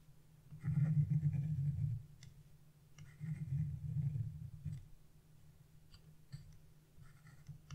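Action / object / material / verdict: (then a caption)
scrape / wax-coated scratch-art paper / wax coating / none. A thin chisel, held in fingers with blue-painted nails, scratches the black coating off wax-coated scratch-art paper near a figure's leg. Two longer stretches of dense, low scratching rasp are separated and followed by quieter, sharp little clicks and scrapes as the tool lifts and touches down again.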